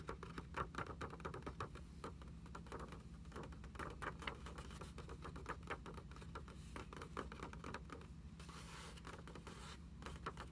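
Long acrylic nails tap on the lined paper pages of an open hardcover notebook lying on a table. A rapid, steady stream of soft, dry clicks rolls on without pause. A constant low hum sits underneath, with a faint brighter hiss near the end.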